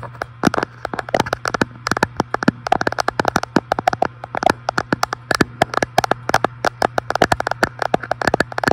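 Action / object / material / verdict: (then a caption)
tap / glass fireplace front panel / glass / none. A fingertip taps rapidly and irregularly on the large, flat, solid glass front panel of an electric fireplace. The result is a dense run of short, dry clicks with a faint tonal knock and bright edges, over a steady low hum.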